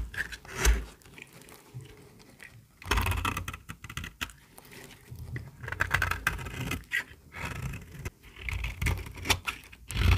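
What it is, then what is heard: Dry bar soap. A small, solid, dry white bar of soap held in the hand is shaved with a metal utility-knife blade. Dry, crisp scraping strokes come in bursts, with bright crackling flakes over dull low thumps. Short pauses fall between the strokes.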